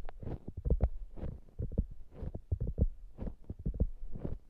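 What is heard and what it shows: A soft polyurethane foam hamburger squishy toy is held close while long nails scratch and tap its top surface. Quick muffled taps alternate with soft, brushy scratching, all deep and dull with almost no bright content.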